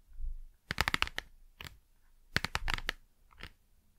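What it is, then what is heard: Small cardboard box tapped with fingernails. Long nails tap and scratch the front of a small, hollow cardboard Blu Tack box while it is moved around close to the microphone. Two quick clusters of bright, crisp taps stand out above soft scratching and low handling rumble, with each tap dying away almost instantly.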